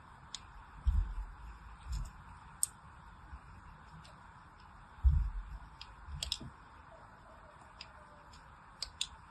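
A fine blade scratches and cuts diagonal grooves into the surface of a solid pink soap bar held in the hand. Soft, low thuds mix with short, sharp, bright clicks and scrapes at irregular intervals over a steady, faint hiss, each sound dying away almost instantly.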